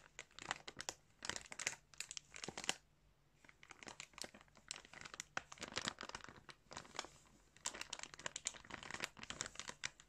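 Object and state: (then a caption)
Plastic bag of yarn. Fingertips pinch and crinkle the surface of a thin, clear plastic bag stuffed with yarn. Dense, bright crackling bursts come in clusters, with a quieter lull near the middle before the crinkling picks up again. The crinkles are sharp and dry, with almost no low end and no lingering ring.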